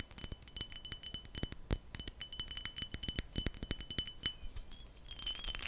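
A textured glass perfume bottle is tapped and scratched in a rapid run of quick, short clinks with bright, high ringing tones. It ends in a brief, airy scratching sound.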